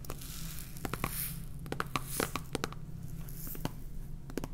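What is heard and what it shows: Fingernails tap and scratch the side and red plastic cap of a clear plastic salt jar full of salt. A quick, uneven run of short, dry clicks rises over a steady low hum, with light scratchy rustles and faint bright hiss between taps.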